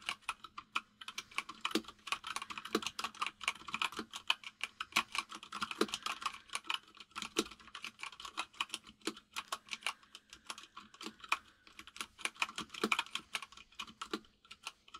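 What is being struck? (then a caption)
Mechanical keyboard with plastic keycaps. Both hands type rapidly with their fingertips on a white full-size mechanical keyboard with plastic keycaps resting on a desk. The result is a fast, uneven stream of short, bright clicks and clacks that stop almost instantly, over a faint steady low hum.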